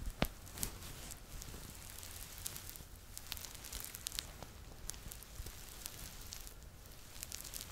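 A yellow Teletubby Laa-Laa plush toy with a soft, stuffed, fuzzy fabric body is held against the front of a microphone while fingertips scratch and rub the fabric. The result is a steady, quiet crackling rustle with many brief, sharp scratchy ticks scattered through it.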